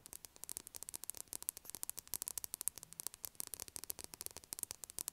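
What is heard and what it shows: Long acrylic nails tap rapidly on a solid, unwrapped, palm-sized blue Dettol soap bar that is held in hand and placed on a table. The result is a quiet, steady stream of dozens of sharp, dry clicks with a bright, high tone and almost no low end or ring.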